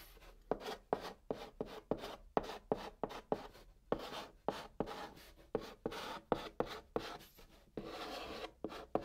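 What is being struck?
Chalk stick on cardboard box.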